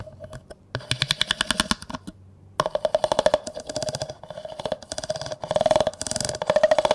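A large, hollow, empty clear plastic cup is held upside down while a yellow plastic comb is scraped and tapped along it, its teeth running across the cup. Fast bursts of sharp, dry clicks come in rattling runs, with a steady mid-pitched tone around 600 Hz ringing through them and bright upper edges. Short pauses separate the runs.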